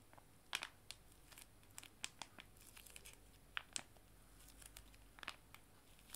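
Two joined, small, full foil-laminated wet wipe sachets are held in both hands and crinkled and squeezed. The result is quiet, bright crinkling with sharp, short snaps scattered over a soft, steady hiss.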